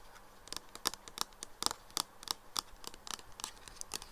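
Fingertips and nails tap and scratch along a clear plastic nail polish remover bottle with a black cap, mostly full of pink liquid, lying on its side on a wooden table. The result is a rapid series of short, dry, bright clicks and crisp scratches with almost no ring, over a faint hiss.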